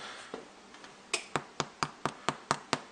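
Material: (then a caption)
Bread. An Irish soda bread loaf with a golden-brown crust, just taken from the oven after 35 minutes, is tapped on the crust. After a couple of faint taps come eight sharp, dry, hollow knocks in a steady rhythm, each fading almost at once. The hollow sound shows the loaf is baked through.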